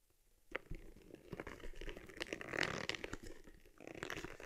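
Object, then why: Small leather camera case. Long nails tap and scratch the round lens cover and stitched front of a small, hollow, empty cowhide leather camera case for an Argus C3. After a brief silence, quiet, dry ticks and crinkly scratching run continuously with no ring, with a bright, rasping texture over a soft low thump.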